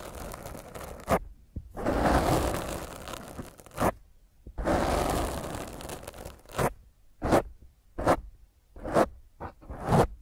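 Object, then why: Foam microphone windscreen. Long fingernails scratch fast at a black foam microphone windscreen held in one hand, producing harsh, crackling, muffled scrapes that sit mostly in the low and middle range. Three long rough scratching passes give way to a series of short, separate strokes, each ending quickly with almost no ring.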